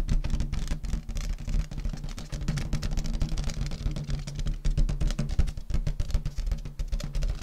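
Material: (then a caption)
Latex. Long nails rapidly tap and scratch the surface of an inflated, hollow purple metallic latex balloon held in front of the body. This makes a dense run of soft, deep, boomy thumps centered around 70 Hz, with faint scratchy hiss above. Each tap dies away almost at once.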